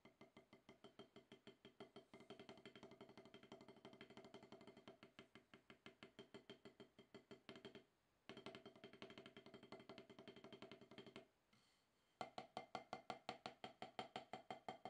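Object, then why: Rubber-topped drum practice pad struck with wooden sticks. Both hands tap wooden drumsticks on a solid, octagonal rubber-top practice pad resting on cloth, producing quick, dry, short-decaying taps with a woody, mid-pitched knock. The strokes come in fast, fairly steady runs, broken by a brief pause near 8 seconds and another quieter gap just before 12 seconds, after which the taps resume slightly louder and brighter.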